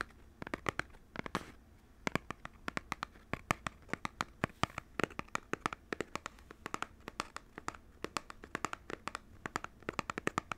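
Fingertips and nails tap and scratch the surface of a small, hollow, printed cardboard box for Nintendo Switch controllers held in both hands. Dozens of quick, dry, papery taps arrive in uneven bursts, with a faint scratchy rasp between them. Each tap is hollow-sounding, centered near 1.2 kHz, and dies away almost instantly without ringing.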